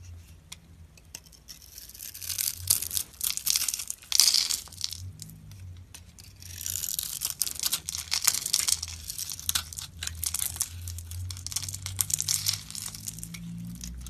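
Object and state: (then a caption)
Bar of soap being shaved. A palm-sized, hand-held bar of solid soap with a blue glittery outer layer and a white core is scraped and shaved with a metal utility-knife blade. Flakes and chunks crumble off with bright, crisp rasping and crunching. Two louder bursts of scraping rise and fade over a faint low hum.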